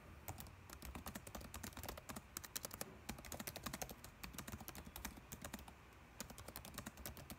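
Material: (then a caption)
Plastic. Fingertips type continuously on a dark laptop keyboard with plastic keys, producing a rapid stream of short, bright, clicky taps over a faint low rumble. The keystrokes come in quick bursts with a brief lull near the end before typing resumes.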